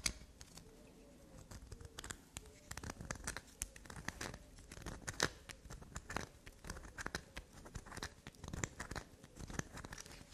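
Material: Soap.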